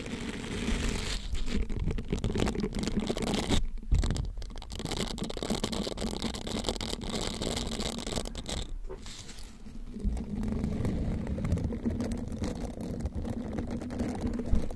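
A green silicone bristled scrubber sponge is bent around the microphone while fingertips and thumbs rub and scratch across its bristled face. The result is a dense, continuous crackly patter and scratching, mostly low and muffled with a steady low hum underneath. The sound dips briefly around the middle and then resumes.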